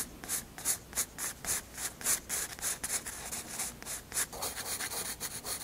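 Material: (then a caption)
Paper. A graphite pencil scratches and rubs hatching strokes across a white paper sketchbook page. Quick, rhythmic back-and-forth strokes produce bright, papery scratching bursts at about three or four per second, with almost no low end.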